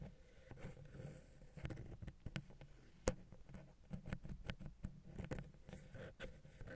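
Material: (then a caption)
Metal. A wooden ear pick taps and scratches the side of the small, hollow silver metal XY stereo capsule on a Zoom H6 recorder. The result is a quiet run of soft, low scraping and rubbing, broken by short dull taps and one sharper click near the middle.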